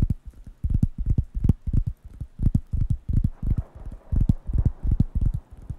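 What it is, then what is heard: Wooden coaster pad tapped. Fingertips tap and scratch the solid, flat surface of a large, thin, round, light-brown wooden coaster pad held in one hand near the microphones. Clusters of quick, dull, low thuds come in irregular bursts, each dying almost instantly, with a faint scratchy rustle between them.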